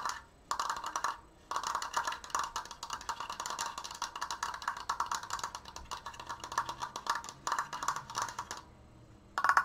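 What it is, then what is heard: Wooden frame. A large stained wooden Triforce frame made of thin triangular slats is fast-tapped along its edges with long painted nails and fingertips. Rapid, dry, clicky taps with a bright woody ring around 1 kHz come in dense bursts separated by short pauses, with almost no low end.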